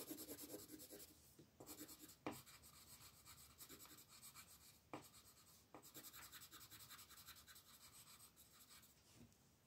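A wooden colored pencil is rubbed back and forth in short strokes on a thin paper coloring book page lying on a table, with the other hand resting on the page. It makes a soft, continuous scratchy rasping with a bright papery hiss. A few sharper ticks stand out along the way.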